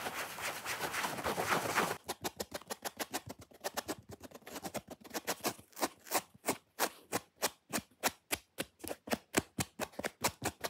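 Fingernails scratch rapidly on the red foam surface and top edge of a dry, watermelon-style foam kitchen sponge with a loop of rope. The first two seconds are a dense, continuous rasping scratch. It then breaks into quick, separate dry strokes, each a short, bright, broadband scrape that stops almost instantly, in a fast but uneven rhythm.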